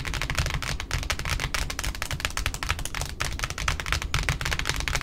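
Long pointed nails on both hands tap rapidly across the flat face of a large white cardboard ribbon spool resting on a wooden table. The result is a dense, steady stream of quick, dry, hollow taps with a low thud beneath bright clicky edges.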